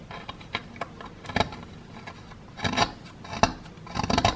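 A wooden stick scrapes and chips at the lower edge of a solid plaster excavation block held in one hand. Dry, gritty scratches and short clicks come in irregular bursts, with a sharp tick partway through. Each sound stops almost at once, with no ring.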